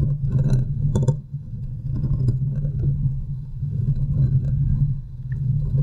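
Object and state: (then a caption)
Metal microphone grille being scratched. Fingertips and long nails scratch the sides and top of the hollow, domed steel mesh grille on a large desktop USB microphone. The result is a dense, boomy rumble centered low around 150 Hz, with rough scraping textures and brief brighter clicks riding on top. The level dips briefly around one second and again near five seconds.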